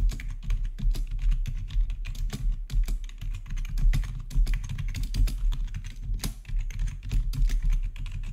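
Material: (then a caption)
Plastic. Fingertips rapidly type on a black plastic RGB backlit gaming keyboard with a hollow housing. The result is a dense, steady stream of quick key clicks, each with a bright tick on top of a deep, hollow thud that carries most of the sound.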